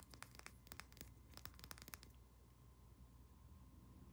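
Long nails tap quickly on a small pink-labelled glass roll-on perfume bottle and its shiny metal cap, giving a rapid run of about a dozen sharp, bright clicks over two seconds. The taps then stop, leaving only a faint steady hum and low background noise.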